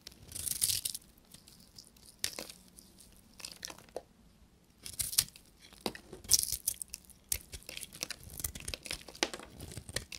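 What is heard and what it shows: A knife blade shaves crumbly flakes off a small, solid piece of dry blue soap held in the fingers. It makes bright, dry, crackling scrapes in irregular bursts, with short quiet gaps between cuts.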